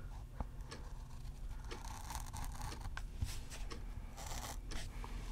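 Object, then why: Pen nib on thin paper page. An orange fountain pen nib draws a loop around a word on a thin paper page of an open softcover word-seek puzzle book. Quiet, bright scratchy strokes of the nib scraping the paper come in short bursts over a steady low rumble, with a couple of faint taps.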